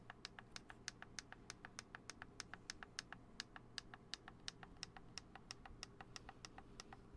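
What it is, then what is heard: Plastic camera lens cap and barrel. Fingertips tap quickly on the lens cap and lens barrel of a black Canon DSLR camera with a hollow plastic body, held in both hands. About 43 short, crisp plastic clicks come in a steady rapid stream, each dying away almost instantly. A low, steady hum sits underneath.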